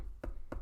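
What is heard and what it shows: Two quick taps on fabric stretched drum tight in an embroidery hoop, after tightening the screw and pulling the fabric. Each tap is a short, low, hollow knock that dies away almost at once, with no bright edge, showing the fabric is taut and ready to stitch.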